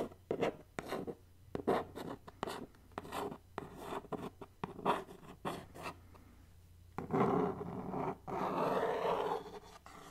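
Long nails tap and scratch across the flat printed face of a hollow, medium black cardboard subscription mailer box held in the hands. Quick, dry taps come in a rapid uneven run, then give way to longer rasping scrapes across the cardboard. A faint low hum sits underneath throughout.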